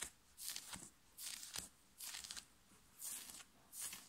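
Fingernails scratch fast and hard across the chest of a worn black knit fabric t-shirt while fingers grip the fabric. The scratches come as five rough, hissing bursts of about half a second each, bright and high with almost no low end, separated by short quiet gaps.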